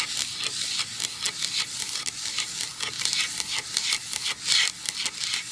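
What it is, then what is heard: Pine wood plank. A medium-sized solid pine-wood plank sign lying flat on a towel is tapped and lightly scratched with the long acrylic nails of both hands. About 14 quick, irregular taps stand out over a continuous, bright, hissy scratching texture with almost no low end. Each tap dies away quickly.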